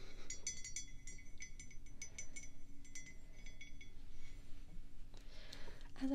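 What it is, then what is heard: Ceramic coffee mug. Long pink nails tap the side of a matte black ceramic coffee mug, hollow and apparently empty, standing on a table. The result is a quick run of light, bright clinks with short ringing tones, over a low steady hum. Later come softer brushing sounds and a final tap.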